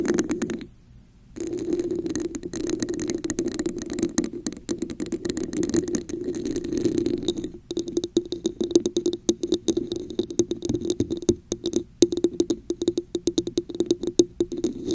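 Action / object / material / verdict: tap / textured plastic cup / plastic / none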